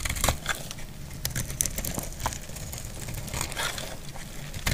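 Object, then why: Bar soap. A solid purple bar of soap is held and scraped with a utility blade into shavings. Dry, crackly scraping and crumbling come in quick, uneven bursts, with bright crisp edges over a low, steady rumble.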